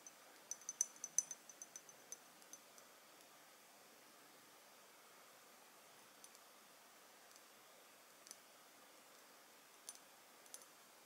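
Long nails tap and scratch the front of a small Bvlgari Jasmin Noir dark glass perfume bottle with a gold cap. A quick flurry of sharp, bright clicks fills the first three seconds, then a few sparse taps follow. Each tap is dry and short with a high glassy tick and almost no low end, against quiet background hiss.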